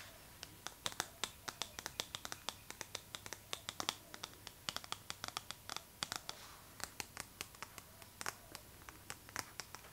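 Long nails scratch and tap the glossy paper cover of a Vogue magazine held in the hands. The result is a quiet, fast series of dozens of sharp, bright clicks and dry scratches, each dying away almost instantly, with very little low end.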